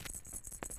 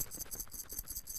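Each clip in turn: First: bronze Paralympic medal identified by its soft rattle. Second: gold Paralympic medal recognised by its louder rattle.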